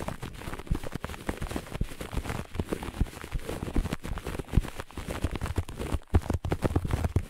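Long nails on both hands scratch fast and hard across the pile of a flat, looped grey-beige carpet. The result is a dense, continuous stream of short, dry scratching strokes with a dull, low-heavy body and little brightness. There is a brief lull just after the six-second mark before the scratching resumes.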